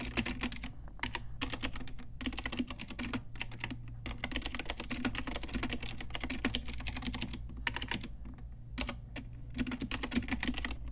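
Fingertips and long nails of both hands type on a pink Ajazz typewriter-style retro mechanical keyboard with round plastic keycaps. It makes a steady stream of quick, bright clicks and clacks, with a few short pauses, over a constant low hum.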